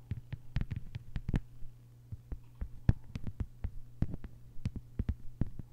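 Long white nails on both hands tap and scratch a thin, flat, green plastic cutting board lying on a table. The result is an irregular run of about two dozen short, dry clicks that die away instantly, over a steady low hum.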